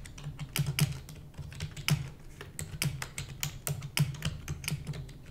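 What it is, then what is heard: Plastic computer keyboard being typed on. A full-size black plastic computer keyboard with hollow keys is typed rapidly with the long nails and fingertips of both hands. It makes a quick, uneven stream of sharp, bright clicks over a low, hollow thump. Each keystroke dies away almost instantly.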